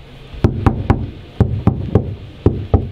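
Eight dull, low knocks on a steel Troopy body panel that already has one layer of sound deadening mat applied. Each thud stays low and dies away almost at once, with no ringing. The panel sounds well damped by the deadener.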